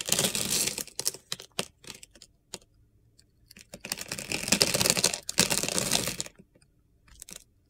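A metal utility knife blade scrapes and carves crunchy shavings off a hand-sized solid bar of soap with a yellow glitter coating and a light blue inside, held in the hand. Bright, gritty crunching comes in short, quick strokes and two longer sustained scraping bursts, with brief quiet gaps between them.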